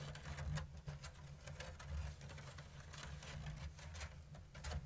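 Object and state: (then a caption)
Woven bamboo basket tapped and scratched with nails. Long blue nails scratch and tap the thin strips of a round, hollow bamboo basket woven in an open diamond lattice. Irregular, bright, dry clicks and scratchy rustles sit over a steady low hum.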